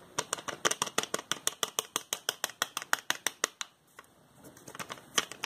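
A small, hollow orange plastic prescription bottle with a white plastic child-proof cap, contents not visible, is held in both hands while the fingertips twist and rub the cap. It makes a quick, steady run of sharp, bright, dry clicks, then a brief pause near four seconds. Softer clicks follow, building back to a few louder ones, 28 clicks in all.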